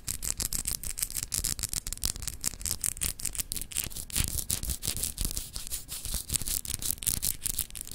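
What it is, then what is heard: Glass globe paperweight scratched with nails. A palm-sized solid clear glass globe paperweight with etched continents, held in one hand, is rapidly scratched by long acrylic nails. The result is a continuous stream of quick, dry scratching strokes with a bright, hissy edge over a low, muffled rumble of handling, each stroke dying away almost instantly.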